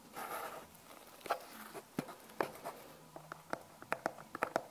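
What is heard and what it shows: A small, hollow brown cardboard Magenesis product box, its contents unseen, is held in both hands and tapped and scratched with long painted nails. A soft scratchy rustle opens the clip, followed by dry, short taps with a hollow midrange knock and bright clicky edges. The taps come closer together toward the end.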